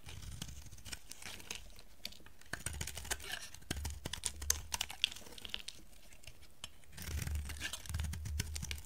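A solid, dry green bar of soap is held in a hand with long dark nails and shaved with a metal utility knife blade. The blade gives dry, crisp scraping and crackling with many sharp little clicks and snaps, bright at the top over a soft low rumble. The shaving grows denser and louder near the end.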